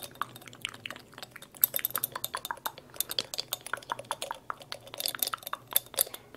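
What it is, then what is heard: Glass dropper bottle. A small dark glass dropper bottle with a white rubber or plastic dropper cap is held in both hands and tapped and scratched with long, light-colored acrylic nails. A rapid, irregular run of sharp, bright clicks and clinks dies away almost instantly, with soft scratchy friction between them over a faint low hum.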